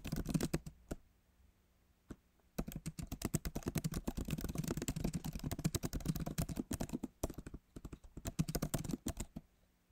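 Fingertips of both hands type on the backlit MacBook Pro keyboard, its plastic keys set in a solid aluminum body. The short, dull clicks are mostly low and quickly damped. A few scattered taps and a pause give way to steady, rapid runs of typing with a brief break before the end.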